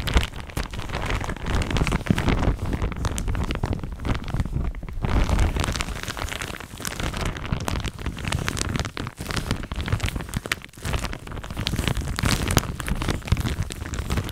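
A thin, soft pink printed plastic shower cap is bunched up in both hands close to the microphone, then crinkled and scratched with long nails. The result is a dense, continuous rustle of crinkles and scratches with a heavy low-end handling rumble, holding fairly steady with brief dips around nine and eleven seconds.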